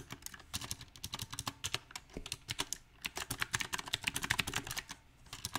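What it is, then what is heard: Mechanical keyboard with plastic round keycaps. Fingertips type on a backlit compact mechanical keyboard with round typewriter-style plastic keycaps on a silver metal frame. Sharp, bright clicks and clacks come in an uneven rhythm, with brief pauses between bursts. Each keystroke stops almost instantly.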